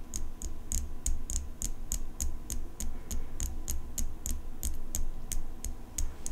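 Long fingernails tap and scratch the blade of an open steel folding pocket knife with an engraved metal handle. A steady run of short, bright, ticking clicks comes at a quick, even pace over a constant low rumble.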